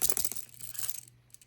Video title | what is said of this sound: Bolte Light Gemini Unboxing & First Look: A Serious Busse Gemini Clone? | does not rattle at all. Maybe a little bit if I really shake it, but it's not bad.